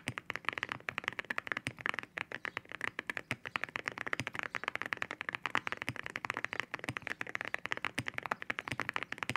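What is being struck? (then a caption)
Mechanical keyboard with ceramic keycaps. Both hands type with fingertip taps on a white 65% mechanical keyboard fitted with ceramic keycaps. A fast, steady stream of crisp, bright clacks follows, each one short and dry with almost no ring, its tone centered in the upper mids with little low end.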